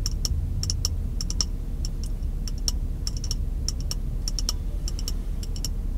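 A small, empty, clear glass jar, held in one hand close to the face inside a car, is tapped rapidly with the white-gloved fingertips of the other hand. The taps come as quick, bright, high clicks that die away almost instantly, scattered irregularly over a steady low rumble.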